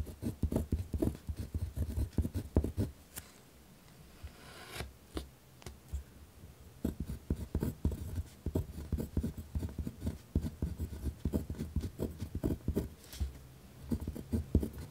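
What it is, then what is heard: Pen writing on notebook paper. A ballpoint pen tip scratches firmly across a torn-out spiral notebook page resting on a wooden desk while writing. Dense bursts of short, dry scratching strokes dominate the low end, with a quieter pause in the middle before the rapid writing strokes resume.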